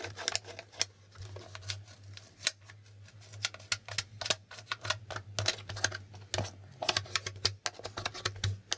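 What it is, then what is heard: Plastic board game tiles. Fingertips flip and tap the red and blue plastic letter flip tiles on a handheld, flat, hollow plastic Hangman game board. A rapid, irregular series of sharp, bright plastic clicks and taps rings out, each dying away almost instantly, over a steady low hum.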